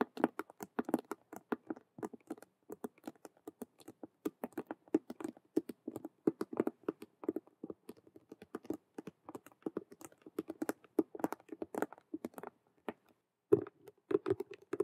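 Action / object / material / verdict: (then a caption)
scrape / patent faux leather cube handbag / faux leather / none. Long nails rapidly scratch and tap the colored stitched squares on the front face of a hollow, glossy patent faux leather (patent vinyl) Rubik's cube handbag. The result is a quick, dense patter of dry, clicky taps and scratches centered around 400 Hz, with almost no low end and each sound dying out almost instantly.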